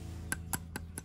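A plastic spinning reel spool is tapped four times, at a steady pace, to show it is plastic rather than metal as first thought. Each tap is a short, dry tick with a pitched click around 1.5 kHz and a bright upper edge that dies away almost instantly, over a steady low hum.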